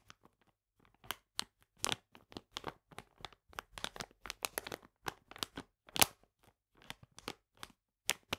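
Fingernails scratch and fingertips rub a full plastic bag of polenta lying flat, making about two dozen short, bright crinkling and crackling bursts. The sound is quiet, dry and high-pitched, with almost no low end, and each burst cuts off quickly.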